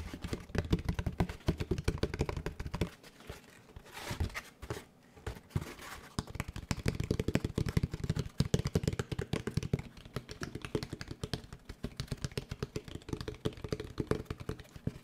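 A large molded paper pulp packaging tray with a bumpy, ridged surface is held in front of the microphone and tapped and scratched with the fingertips and nails. Rapid, dull, papery taps and scratches run throughout, mostly low and muffled with very little high-end brightness. A quieter, sparser stretch comes around the middle before the dense tapping resumes.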